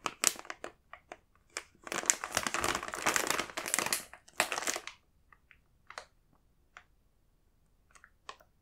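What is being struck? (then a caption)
Plastic snack bag. Fingertips with short nails tap and press on the surface of a large printed plastic multipack bag of Koala's March chocolate biscuits, full of individual packs. Dense, bright plastic crinkling and crushing fills the first five seconds, then gives way to a few sparse, sharp crinkly taps separated by near silence.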